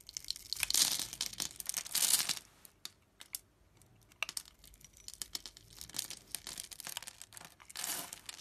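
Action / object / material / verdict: scrape / bar of soap cut with a thin metal blade / soap / none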